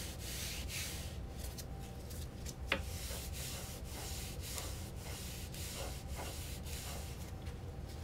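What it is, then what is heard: Fabric upholstered chair backrest being wiped. A hand in a blue nitrile glove rubs and wipes a white disinfectant wipe over the blue-grey padded fabric backrest of an office guest chair with a black metal frame, mostly across the back and top edge of the soft, cushioned seat back. Soft, repeated brushing swishes with a bright hiss carry over a steady low rumble. One brief, sharper tick stands out partway through.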